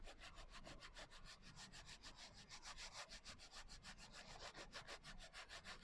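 Fingertips and nails rub the coarse glitter cover of a closed hardcover journal lying flat. Quick, steady back-and-forth strokes make a gritty, scratchy rasp with bright, hissy texture and a soft low rumble beneath. The rubbing keeps an even rhythm throughout, with no ringing between strokes.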